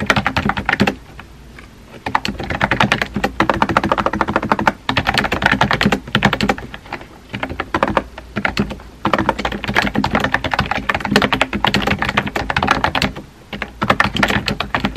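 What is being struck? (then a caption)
Plastic computer keyboard. Fingertips type on a compact pink plastic keyboard with round white keycaps, tapping the keys. It produces rapid, dry, clicky taps with very little ring, coming in dense bursts broken by brief pauses.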